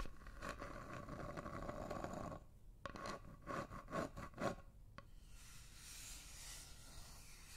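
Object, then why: Flat wooden heart-shaped block. Long nails scratch and rub across the surface of a flat, solid, light wooden heart-shaped block about the size of a hand, held close to the microphones. A steady dry scraping comes first, then short rasping strokes with a faint tonal edge, before it fades to a soft, quiet rubbing hiss.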